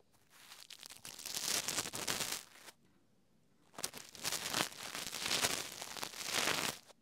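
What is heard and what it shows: A small black plastic Rode Wireless GO II transmitter is held in one hand while a thin green-tipped tool taps and scratches around its buttons and body. Dense, bright, crackly tapping and scraping comes in two long bursts separated by a short quiet pause, with almost no low end.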